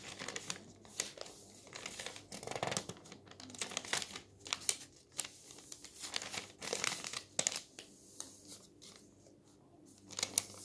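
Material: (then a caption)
Paper. Fingers rub and pinch the edge of a thin newsprint page on an open paper newspaper lying on a table. The result is bright, dry crinkling and rustling in uneven bursts with short crisp crackles. It has almost no low end.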